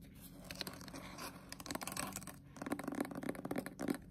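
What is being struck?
Paperback book, paper with glossy cover.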